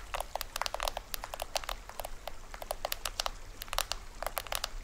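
Fingernails tap and scratch the taut printed plastic film drum head of a small hollow toy drum with a green rim. The result is a rapid, irregular run of dry, crisp ticks and brief crinkly scratches, each bright and very short with almost no ring, over a faint low background rumble.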